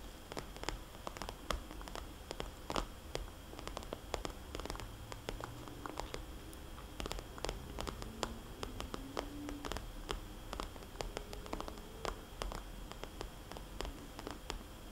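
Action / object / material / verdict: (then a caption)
tap / plastic cosmetics pouch / plastic / none. Long polished fingernails tap rapidly and scratch lightly on a small red polka-dot glossy plastic cosmetics bag lying flat, a hollow, soft pouch. Quick, crisp clicks with very short decay come in uneven bursts over a low, steady rumble, with faint scraping between the taps.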